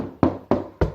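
Three hollow knocks on a plasterboard wall at the spot planned for drilling. Each knock is a short, dull thud with a low resonant tone that dies away quickly, and the sound identifies the wall as hollow plasterboard.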